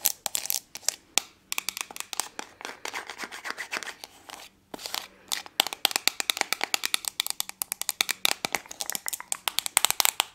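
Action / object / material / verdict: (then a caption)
tap / small round aluminium tin with lid / aluminium / none. Long nails tap and scratch the lid and sides of a small round silver aluminium tin with a lid, held in one hand close to the microphone. Quick, bright metallic clicks come in rapid bursts with brief pauses, mixed with thin scratchy rasps. Each tap dies away almost at once, leaving no ring.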